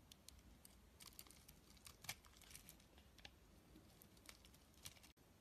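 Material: Soap.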